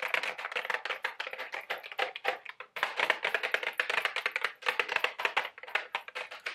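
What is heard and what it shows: A small printed-cardboard Mike and Ike Buttered Popcorn candy box, likely full, is held in both hands and rapidly tapped with long, sharp orange acrylic nails. Dozens of quick, dry, bright clicks with almost no ring run in dense bursts, with brief pauses near 2.7 and 4.5 seconds.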